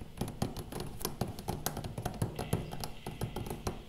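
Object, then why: Thin hollow metal umbrella shaft. A thin hollow metal photo umbrella shaft is held upright in one fist while the fingertips of the other hand tap along the rod. The result is a quick, uneven run of soft, dull, low-pitched taps with very little ring.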